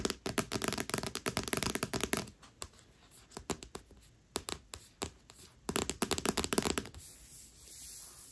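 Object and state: Paperback book with glossy cover, solid.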